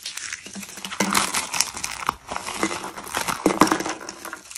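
Fingertips with short nails press and crush a round arrangement of rolled white dried soap curls. Dense, dry crackling and crinkling crunches come in quick overlapping bursts with a bright, brittle edge and almost no low end. Each crunch stops short with no ring.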